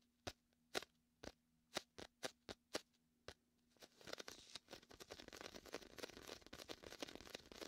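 Fingers press onto the tacky surface of a large, hollow, air-filled red-and-white inflatable PVC vinyl beach ball and peel off it repeatedly. About nine separate sharp, bright sticky pops come first, then a dense, continuous crackling peel.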